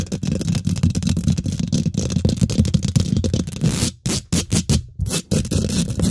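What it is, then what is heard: Metal mesh microphone grille. Both hands use long nails and fingertips to scratch and tap quickly on the domed, hollow woven metal mesh grille of a large silver condenser microphone. The result is a dense, rapid stream of close, boomy, low thumps and rough scraping. After about four seconds it breaks into short, separate bursts with a brighter, hissy edge.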